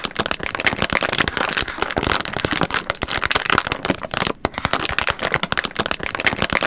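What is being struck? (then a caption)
Soft plastic wet wipes pack. A hand-sized, apparently full soft plastic pack of white and purple wet wipes is held in both hands in front of a microphone and crinkled and scratched with long red-painted nails. Dense, bright, crackly rustling and quick sharp crinkles continue throughout, with a brief lull just past the four-second mark.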